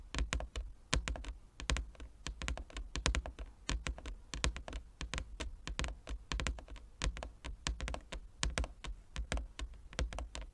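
Fingertips and nails of both hands tap rapidly across a large, flat, inlaid wooden chess board. The irregular stream of short taps has a deep, hollow thump underneath and sharp, bright clicks from the nails. Each tap dies away almost immediately.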